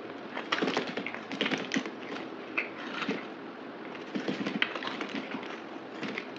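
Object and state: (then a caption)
Bar soap being scraped. A solid rectangular white bar of soap, held in the hand, is cut and scraped with a utility knife blade into thin curls, sped up to double speed. Quick, dry, crisp scraping and crackling ticks come in clustered bursts over a soft, bright hiss, with little low end.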